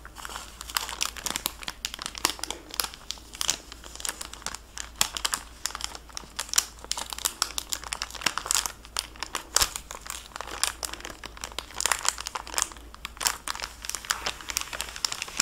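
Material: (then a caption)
Plastic film. A small, flat, closed kraft cardboard product box wrapped in clear crinkly plastic film is held in both hands with long painted nails. The fingertips rub and crinkle the wrap while peeling it open. It makes dense, bright crackling and crinkling with occasional tearing, mostly high-pitched with very little low end.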